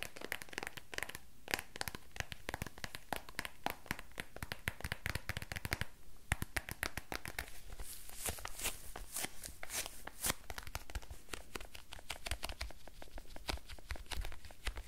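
A small, dark brown, quilted faux-leather purse or wallet with a squishy, textured, hollow body is tapped and scratched quickly with fingertips and short nails. The result is a dense, steady stream of short, dry clicks and scratchy, crinkly rustles that die away almost instantly. There are brief lulls near the 1- and 6-second marks.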